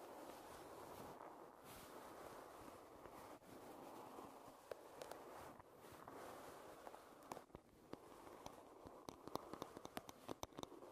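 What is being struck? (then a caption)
Wooden hairbrush. Long red nails tap and scratch the wooden handle and back of a wooden hairbrush. A steady, soft scratching hiss runs throughout, with sharp, dry taps growing more frequent in the second half.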